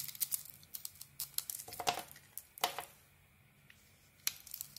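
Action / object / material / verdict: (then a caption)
scrape / soap bar / soap / none. A metal blade shaves a solid green soap bar with a white core held in the hand, peeling off curls. Dry, crisp scraping and crackling strokes come in an irregular series, bright and papery, with a short quiet pause before a final few cuts.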